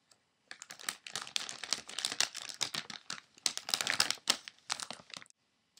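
Fingertips grip and crumple a medium-size Pirate's Booty chip bag, made of thin foil-lined plastic film, hollow and apparently holding snacks, as it lies on a table. After a faint tick, a dense run of sharp, bright crackling crinkles fills about five seconds, with little low end. The crinkles come in uneven bursts with brief pauses and stop abruptly.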